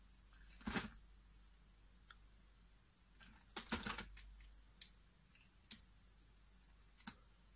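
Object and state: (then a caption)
Bar soap being carved. A utility blade carves chunks off a solid, hand-sized peach bar of soap held in the fingers. Quiet, irregular crisp cuts and scrapes come with short, bright clicks, and a denser cluster of cuts lands midway. Each cut dies away quickly over a faint low background hum.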